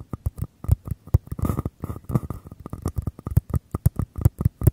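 Fingertips and nails tap and scratch the sides of two identical small, empty, hollow white paper cups held close beside the microphones. A rapid, uneven run of short, dry taps gives hollow low thumps with bright clicky edges. Brief bursts of papery scratching rustle fill the gaps between the taps.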